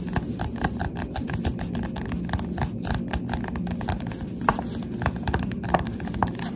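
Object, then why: Paperback book with glossy card cover. A Goosebumps paperback book with a glossy cover is held upright while the fingertips of both hands tap rapidly on its front cover. The result is a dense, continuous patter of soft, dull taps, mostly low in tone with light clicky edges around 1 kHz. A few slightly sharper taps stand out near the end.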